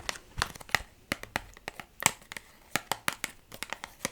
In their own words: I've been tapping on some plastic box.